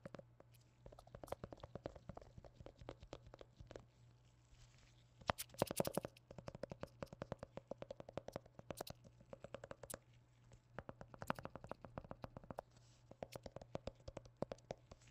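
A hollow white plastic hand cream squeeze tube with a blue cap and printed label is tapped and knocked with black-gloved fingertips. Quick, soft, dry clicks come in dense bursts with short pauses, carrying a hollow plastic tone around 560 Hz over a steady low hum. A louder flurry of knocks arrives about a third of the way in.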